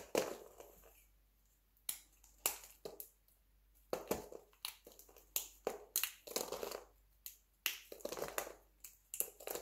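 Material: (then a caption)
Soap. A light green bar of dry soap is cut with a utility knife, then fingertips crumble and crush the brittle flakes on a table. The result is a series of sharp, dry crunches and crackles, bright and crisp with almost no low end, each fading quickly into short gritty trails.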